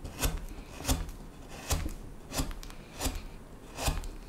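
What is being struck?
Wooden spoon blank.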